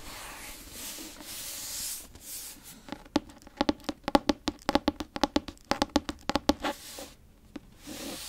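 A grey fabric-covered hardcover book, held close to a microphone, has its cover rubbed and scratched with long nails and fingertips. Soft, bright scratchy rubbing gives way to a quick, uneven run of crisp nail taps and clicks with a low hollow knock beneath them, then returns to gentle rubbing.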